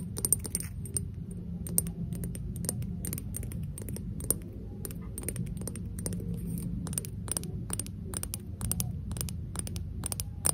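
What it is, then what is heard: Ceramic vase tapped with nails. A small, hollow, empty matte pink ceramic face vase is tapped and scratched with long acrylic nails. Rapid, sharp, bright clicks and ticks with almost no ring sound over a steady low rumbling background.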